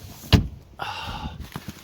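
A hand knocks on the steel body panel of an old vehicle, possibly a door, with one heavy low thud followed by lighter knocks and a brief rustling scrape. The panel sounds solid, suggesting no rust-through.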